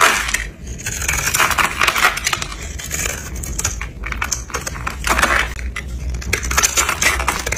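A red utility knife blade scrapes and cuts flakes and small cubes off a hand-held, solid pink and orange dry soap bar scored into a cube grid. Dense, crisp crackling and scratchy clicks come in bright bursts over a faint steady low hum, as the pieces crumble away.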